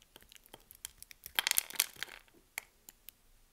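A solid pink soap bar, held in the hand, is shaved with a metal blade so that grid-cut cubes and slabs crumble off as the blade scrapes across it. Quiet, bright, crisp crackles and scrapes build into a denser crumbling burst midway, then thin out to scattered sharp ticks.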